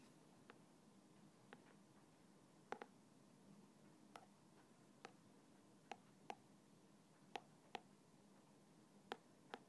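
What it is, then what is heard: Plastic bottle with liquid, tapped. A thin black stick taps and scratches the side of a small translucent plastic bottle that stands upside down on its red cap, partly filled with clear liquid. Twelve sharp, dry clicks with a light mid-range ring come at uneven intervals over a faint, steady hiss.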